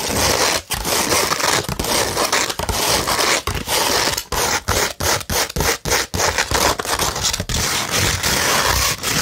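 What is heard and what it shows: Long red nails scratch a slightly curved, flat beige 100-grit sandpaper sheet, producing a dense, bright, gritty rasp. The scraping runs in near-continuous strokes, broken by brief dips in loudness between passes.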